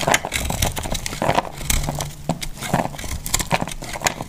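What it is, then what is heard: Dry soap, crumbling under a blade. A solid, dry, pink-and-green heart-shaped soap held in the hand is cut and scraped with a metal utility blade, and pieces crumble off. The result is a dense run of dry, crackly scraping and crunching, with quick bright snaps over a soft low rumble.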